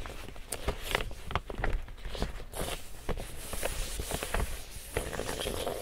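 Fingertips and a palm pat, tap and rub the printed side of a large, empty pink woven plastic tote bag. The hollow bag gives soft, dull thumps mixed with dry, crinkly scratching and bright rustle.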